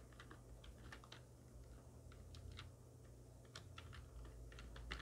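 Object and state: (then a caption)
Plastic computer keyboard being typed on. A full-size black plastic computer keyboard with hollow keys, resting on a wooden desk, is typed on rapidly with the long nails and fingertips of both hands. Quick, bright clicks and taps patter irregularly over a steady low hum.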